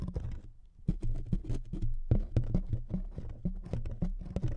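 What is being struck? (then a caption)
Thin wood veneer sheet. Fingernails scratch across the surface of a thin wood veneer sheet resting on two microphones. The result is a quick run of dry, close scratches and soft taps with a heavy, muffled low-end thump and almost no bright content. Each stroke dies away almost instantly.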